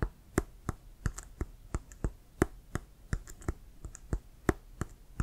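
Fingertips tap on the surface of a hollow, inflated brown leather Wilson American football with laces. The result is a quick, uneven series of short, dry taps with a low thump and a brief bright click, each fading almost at once.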